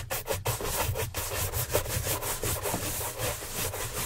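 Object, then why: Leather dress shoe brushed with a bristle brush. Gloved hands quickly brush the upper of a hollow brown leather Santoni oxford dress shoe on a stand with a wooden-handled bristle shine brush. The clip is a steady run of rapid, scratchy brushing swishes with bright bristle hiss over a soft low rumble.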